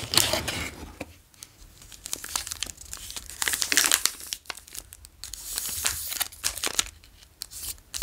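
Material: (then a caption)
Plastic. Fingertips tap, trace and crinkle the plastic wrapper of a long, solid Daim Caramel Latte chocolate bar held in the hands. The result is bright, dry crackling with many quick, sharp ticks and short bursts of rustling between quieter moments.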